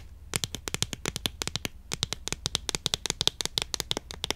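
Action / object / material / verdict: tap / cardboard tube box of incense sticks / cardboard / none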